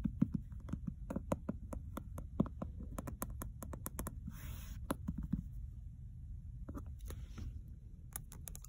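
Long nails tap and scratch the cover and edges of a solid red leather-bound hardcover book with a gold-embossed geometric cover, lying flat on carpet. Quick, dry taps with almost no ring come in uneven clusters over a steady low rumble. Brief bright scratching passes break in around the middle and near the end.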